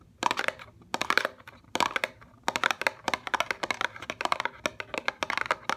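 Long fingernails tap on a small upright CeraVe eye cream box made of thin paperboard, hollow with a tube inside. Short bursts of rapid, dry, bright clicks come in quick clusters before settling into a steady run of crisp taps. Each tap dies almost instantly with no low-end weight.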